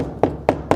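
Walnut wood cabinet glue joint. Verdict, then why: Solid. Three short, dull knocks ring out as a repaired glued joint on a walnut credenza cabinet is tapped after its clamps are removed, the glue having dried overnight with screws added. Each tap is a brief midrange thud that dies away almost at once. The joint sounds solid, meaning the repaired glue bond is holding.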